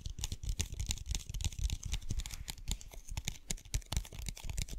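A clear plastic bottle with a white lid, full of blue water beads, is tapped and scratched with the fingernails. Rapid, dense clicks and scratchy taps come in quick bursts, each with a dull low thump and a bright crackle. The hits die away almost at once, giving a dry, steady rattle throughout.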